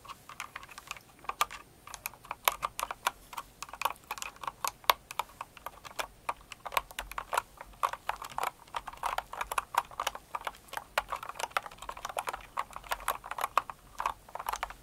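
Both hands with long acrylic nails type steadily on a Cinnamoroll kawaii mechanical keyboard with plastic keycaps. The result is a rapid, continuous stream of sharp, clicky keystrokes centered around 1 kHz with bright tops, each one dying away almost instantly.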